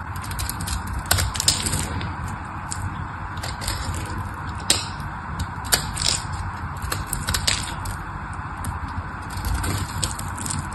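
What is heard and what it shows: A solid pink bar of dry soap, held in the hand, is shaved with a small craft knife blade. Steady scraping and crackling runs over a low rumble, broken by sharp, bright cracks as the blade bites into the soap.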